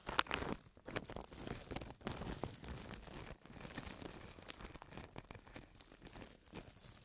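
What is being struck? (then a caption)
Thin plastic carrier bag. A thin white printed plastic carrier bag lies flat on a table while fingertips scratch and rub across it, making dry crackling and rustling with frequent small crinkles. At the end its edge is lifted and crinkled.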